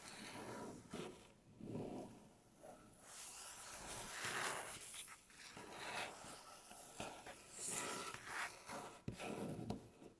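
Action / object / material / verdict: scrape / wooden tabletop / wood / none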